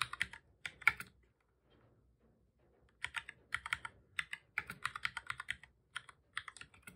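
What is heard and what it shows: Fingertips of both hands type on the keys of a black full-size plastic computer keyboard, making repeated key presses. Bright, short clicks come in quick bursts, with a near-silent pause in the middle before a longer run of steady typing.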